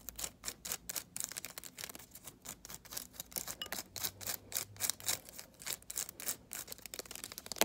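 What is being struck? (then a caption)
Dried sage leaf bundle. A hand-sized, dense, solid bundle of dried white sage leaves bound with string is held in one hand and scratched and tapped with long decorated acrylic nails. A quiet, rapid run of crisp, dry, bright taps and crackling scratches follows, each one short with almost no ring and very little low end.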